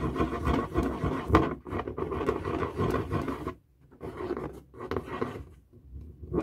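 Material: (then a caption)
Latex rubber. A felt-tip marker draws loops on a light blue, hollow, inflated latex balloon held in the hand, scratching across the stretched rubber. The result is a rough, squeaky rubbing with a groaning mid-low tone, coming in fast, uneven strokes with a brief pause partway through.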